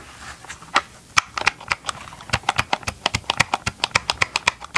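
Gloved fingertips tap rapidly on the hollow plastic shell of a Ryobi chainsaw housing held close to the mic. The result is a run of dry, clicky taps with bright, hollow tone, very little low end and almost no ring. The taps start sparse and irregular, then settle into a quicker, steadier rhythm.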